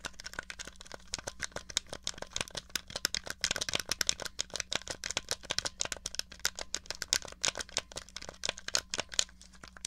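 Long nails tap and scratch rapidly on a small, hollow, grey plastic NES controller held upright, striking both its case and its buttons. The result is a dense run of dry, bright plastic clicks and scratchy crinkles that stop instantly with no ring, over a faint steady low hum.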